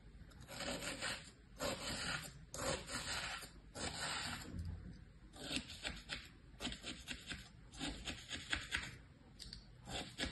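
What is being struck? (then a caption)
Kinetic sand in a plastic tray. A thin tool, held by a hand with long painted nails, scratches patterns across stamped shapes in packed kinetic sand in a mint plastic tray. A series of quiet, bright, gritty scraping strokes starts and stops in short bursts, with little low end and almost no ring after each stroke.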